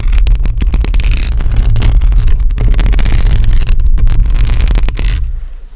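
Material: Metal mesh.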